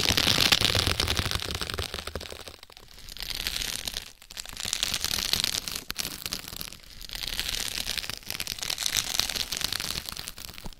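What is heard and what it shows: Long red acrylic nails scratch and press plastic bubble wrap stretched over a foam mannequin head from both sides. Dense, bright crackling and scratchy rustling come in swelling waves, with brief quieter dips between strokes.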